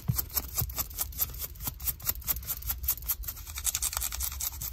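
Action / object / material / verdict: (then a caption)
scrape / denim jeans / denim / none. Long nails scratch along the fabric and seam of light blue denim jeans with a frayed hem at the ankle. About eighteen quick rasping strokes are heard, each a bright, hissy scrape over a soft low rumble, in a steady back-and-forth rhythm.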